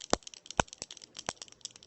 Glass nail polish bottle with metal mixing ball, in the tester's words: you can hear the ball shakin it's fairly thin